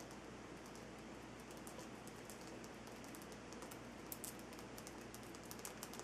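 Fingertips and nails tap and scratch the rough surface of a large, solid, lit pink Himalayan salt rock crystal lamp resting on a dark base. The sound is quiet and steady, with dense, fine crackling and scraping over a constant soft hiss. Scattered sharp, bright ticks stand out, much like light typing or raindrops.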